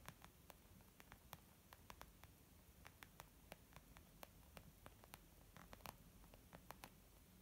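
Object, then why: Leather zip makeup bag. A white textured leather zip makeup bag, flat and hollow, is tapped with long painted nails and the fingertips of both hands. About 28 quick, dry taps land in an irregular patter, each a sharp bright click that dies almost at once. A faint, steady low rumble and hiss sit underneath.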